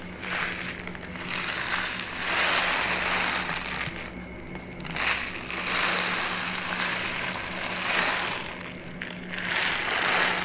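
A brown kraft paper pouch with a folded bottom is held in both hands while its paper walls are crinkled and rubbed with fingertips and long nails. The result is a continuous, bright, dry crackling and rustling in rising and falling swells, over a faint steady low hum.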